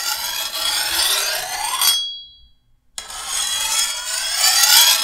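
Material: Steel.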